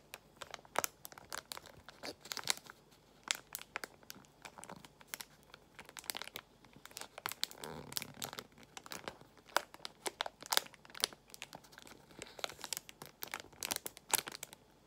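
A small translucent plastic pouch of nail gemstones is crinkled and squeezed with fingertips and long nails. Dense, bright crinkling and sharp crackles come in quick bursts, with a softer, fuller rustle near the middle. Each crackle stops almost at once.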